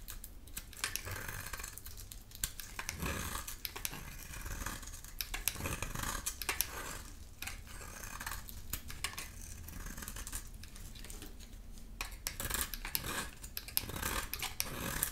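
A hand-held, solid rectangular brown laundry-type soap bar with magenta paint and embossed lettering is shaved with a utility knife blade. Many quick, dry scraping and cutting strokes follow one another, each a crisp, bright rasp with a short sharp attack that dies away almost at once. A steady low rumble runs underneath.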